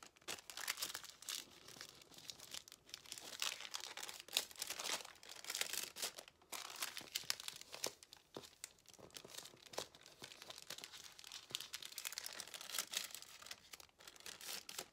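A thin white paper sheet is rolled and folded with fingertips into a strip, its crinkling and rubbing heard as a dense run of soft, bright rustles and crackles with no low end. The scissors lying nearby stay untouched, and the paper ends up folded into a strip.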